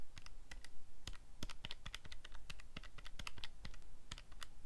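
Fingertips rapidly press the plastic buttons of a calculator keypad, producing a quick, irregular stream of short, sharp clicks. Each press snaps with a bright top and dies away almost at once over a faint low rumble.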